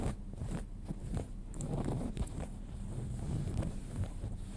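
Fingernails scratch the pale cotton denim of a pair of jeans lying flat, working below and beside the back pocket. The result is a steady, low, rough rustling texture with faint brief scrapes and a soft hiss above it.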